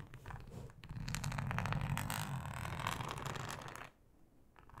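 Long acrylic nails scratch along the ribbed texture of a thin, flexible yellow plastic cutting mat lying flat. The result is a rapid, raspy ribbed scratching with a low rumbling body and bright grainy edges. It runs steadily for about four seconds, then drops away to faint, quiet scratches.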